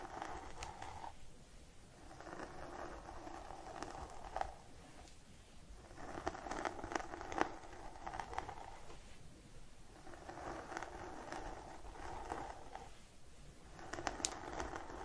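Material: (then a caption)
Synthetic fiber. Fingertips of both hands scratch and rub through the fibers at the scalp of a colorful synthetic-fiber wig with blue, purple and yellow streaks on a mannequin head. Soft, scratchy rustling comes in repeated bursts of a couple of seconds with short quieter gaps between, dotted with brief crackly snaps over a low, steady background rumble.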